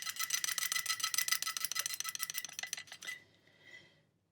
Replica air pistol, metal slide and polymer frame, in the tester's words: you can hear this kind of almost tinny quality to it